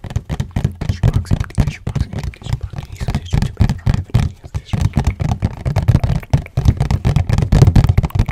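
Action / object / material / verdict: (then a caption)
tap / cardboard tissue box / cardboard / none. Fingernails tap quickly on the floral and green printed sides of a hollow cardboard tissue box, held upright and then flat. The result is a rapid, uneven stream of short, dull, hollow thuds with a low body around 150 Hz, each dying away almost instantly.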